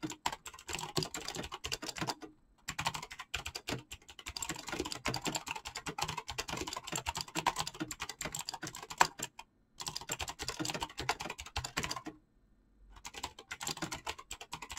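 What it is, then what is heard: Mechanical keyboard with PBT keycaps. Fingertips type fast across a backlit mechanical keyboard with clicky green switches and pastel PBT plastic keycaps. It makes a dense, rapid stream of sharp, bright clicks, broken by brief pauses near 2.5, 9.7 and 12.5 seconds.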